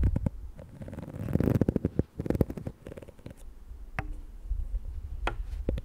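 Long nails scratch and flick the dense black bristles and the shell of a small pink plastic detangling hair brush held in the hands. The result is a close, low-weighted crackle of dry scratching with bursts of quick, sharp ticks and clicks that stop almost instantly.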